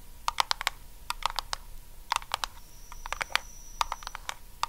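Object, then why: Small round metal lidded tin. Long acrylic nails on both hands tap quickly on a small, round, blue lidded Nivea metal tin that is likely full. About twenty sharp, bright clicks come in quick clusters, each dying away almost at once over a faint steady hum near 1 kHz. A thin high tone sounds briefly in the second half.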